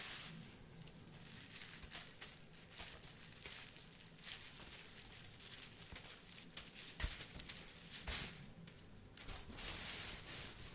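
A clear plastic bag partly filled with dried red rose petals is held in both hands and crinkled and shaken with the fingers. It makes a soft, bright, continuous crinkling rustle with sharper crackly bursts, over a faint low hum.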